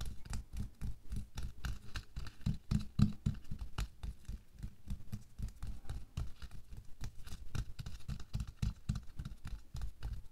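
A thin pink latex or nitrile glove is worn on a hand resting on a white table while bare fingertips and nails quickly scratch and tap over it. The result is a fast, uneven stream of soft, dull taps and rubbing scratches, about three or four per second. The sound is quiet and mostly low, and each touch dies away almost at once.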